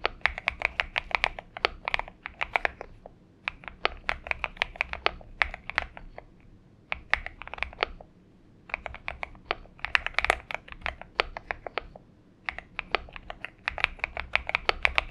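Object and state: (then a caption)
Mechanical keyboard with PBT plastic keycaps. A compact 70% Xinmeng M71 mechanical keyboard with an aluminium case, lubed switches, a tape mod and purple gradient PBT plastic keycaps sits on a desk mat while both hands type steadily with their fingertips. Rapid key taps come as short, dry, bright clacks with almost no ring. The typing runs in quick bursts with brief pauses in between.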